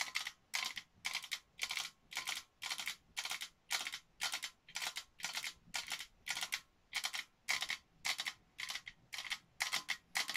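Long nails tap the outside of a hollow, cylindrical printed metal Christmas tin in a steady series of short, rapid bursts. Each burst is a bright, dry, clicky rattle with almost no low end, fading quickly before the next one starts.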